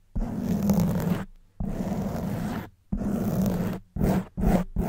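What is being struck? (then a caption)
Foam microphone windscreen. Long white nails and fingertips scratch and rub the sides of a soft black foam windscreen on a silver condenser microphone. The result is dense, low, rumbling scrapes in six bursts: three long strokes, then quicker short ones, separated by brief silences.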